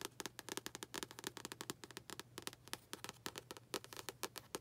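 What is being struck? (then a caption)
Paperback book with cardboard cover. Long acrylic nails tap and scratch the front cover of a medium, solid paperback book with a glossy blue and red cardboard cover, held upright. About thirty quick, sharp, bright clicks come in an uneven rhythm, each stopping almost instantly. Faint scratchy rustling fills the gaps between them, all at a quiet level.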